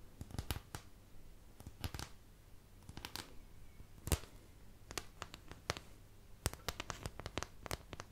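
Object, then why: Thin plastic paint palette. Long nails scratch and tap across the domed wells of a thin, empty white plastic paint palette held close to the mic. Sharp, dry clicks and brief scratchy rasps come in irregular bursts, each snapping off almost instantly and reaching into bright highs, over a faint low steady hum.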